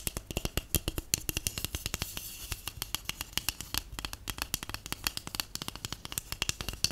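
Long acrylic nails and natural nails tap and scratch along the side of a large, hollow, empty white cardboard tube. Rapid, dry taps each combine a bright click with a soft low thump and die away almost instantly, with light scratching between them.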